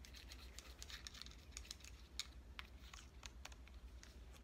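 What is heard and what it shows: Fingernails tap rapidly and lightly on the edges and back of a red compact digital camera with a metal and plastic body, held in the hand. Each tap is a short, bright click that dies away almost instantly, over a steady low hum.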